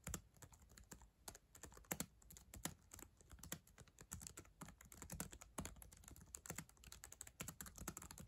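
Long acrylic nails and fingertips type on the plastic keys of a black ThinkPad laptop keyboard on a solid device, making a rapid, uneven stream of crisp clicks and taps. Each short, dry click has a low thud beneath a bright clatter and fades almost instantly, with some louder strikes standing out from the quiet patter.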